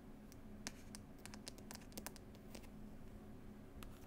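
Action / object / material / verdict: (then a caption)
scrape / cloth-covered hardcover book / cloth and board / none. Long pointed nails scratch and tap on the paper picture label and green cloth cover of a closed, solid hardback book. Short, dry, bright clicks and scratchy strokes come in quick, uneven bursts over a steady low hum.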